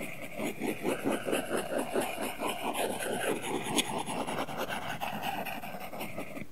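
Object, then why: Stylus tip on matte plastic film over a glass tablet screen. A plastic Apple Pencil tip scratches and shades in continuous coloring strokes across a matte, paper-feel plastic protector film laid over a flat, solid iPad glass screen. The result is a steady, dry rasping scratch with quick back-and-forth strokes at a loosely regular pace of a little over two per second, with a bright, papery texture on top.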